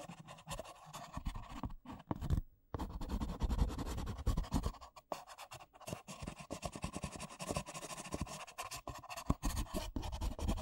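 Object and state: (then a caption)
Paper coffee cups. Fingernails scratch and tap rapidly on two identical empty white paper coffee cups, hollow and thin-walled. The result is a dense, dry stream of papery scratches and soft taps with a hollow, low-heavy body and almost no ring, broken by brief pauses near 2.5 and 5 seconds.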